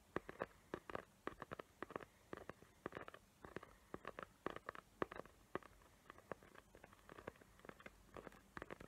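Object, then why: Small cardboard gift box covered in glitter paper. Long nails rapidly tap and scratch a small square cardboard gift box covered in glitter paper with raised hot-glue tree shapes. The result is a quiet, uneven stream of dry, crisp clicks and brief scratchy rasps, each dying away almost instantly and centered in the midrange.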